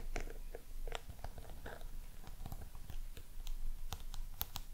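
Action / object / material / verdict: tap / small round box with a crocodile-embossed surface / unknown / none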